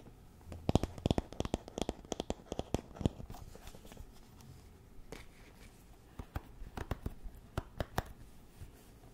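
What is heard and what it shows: Fingernails scratch and flick the wooden pins of a small wooden paddle hairbrush with a solid handle. The result is crisp, dry ticks and short scratchy rasps in two bursts, separated by a quieter stretch of soft scratching. Each flick stops almost instantly with no ring.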